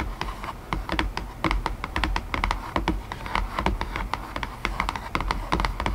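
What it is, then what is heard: Cardboard box lid. An empty white cardboard box lid, resting inside-surface-up on top of its base, is tapped rapidly by long painted nails. The result is a fast, irregular stream of short, dry, crisp clicks with a bright edge, each dying away almost at once, over a steady low hum.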